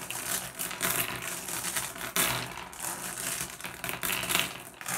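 Fingertips pick at and tap small solid blue glass gem pebbles on a wooden tabletop, making the gems clack together. The result is a dense, continuous run of bright, glassy clicks and clatters with short ringing tones around 2.8 kHz and very little low end.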